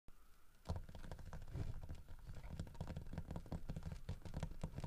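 Fingertips and short nails tap and scratch along the carved fur grooves on the back of a large, solid carved wooden bear holding a painted wooden fish in its mouth, lying on a wooden table. After a brief quiet start, a steady stream of soft, dull, low-pitched taps and scratchy rubs follows, each short and thuddy with no ring.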